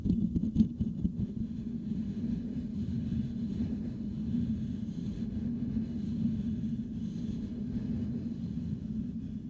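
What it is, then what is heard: Metal mesh microphone grille being scratched. Fingertips and nails rapidly scratch a hollow, silver metal mesh microphone grille. The result is a steady, dense, low scratching rumble centered around 200 Hz, with almost no high or bright content, holding a fairly even level for the full clip.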